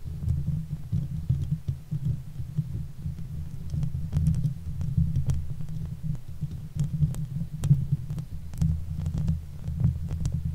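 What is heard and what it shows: Long fingernail tips wrapped around the hollow steel mesh head of a silver Blue Yeti microphone scratch across the grille. The result is a dense, deep, muffled rumble of rubbing and thumping, steady throughout, with faint, brief bright ticks scattered over it.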